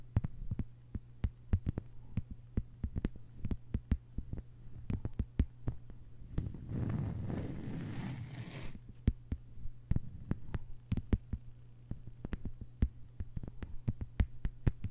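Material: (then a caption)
Plastic. Long white-polished nails on both hands tap a thin, solid, flat lime-green plastic cutting mat lying on a table. Dozens of short, dry, quickly fading clicks come in quick irregular runs over a steady low hum. Partway through, the clicks give way briefly to a continuous, softer rustling noise before the tapping resumes.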